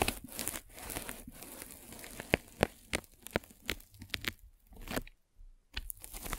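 A metal-spiked derma roller is rolled across a white polyethylene foam mesh net stretched over a microphone. It makes dry, crinkly scratching and crunching with sharp, bright clicks and crackles, broken by a short silent pause before the rolling resumes.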